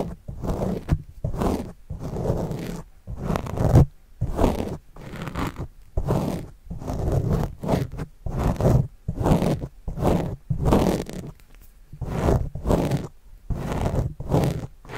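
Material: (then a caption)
Foam. A white plastic stylus tip makes small writing strokes across a black foam windscreen on a microphone, close up. Short bursts of muffled, low scratching and rubbing rumble in an irregular rhythm, separated by brief near-silent gaps.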